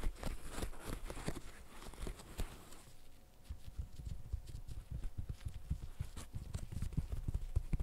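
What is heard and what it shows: Gloved fingertips press the hollow bubbles of a green silicone pop-it fidget toy, producing a dense run of soft, dull, low pops and thumps with almost no ring. Partway through, a faint steady tone sits under the popping.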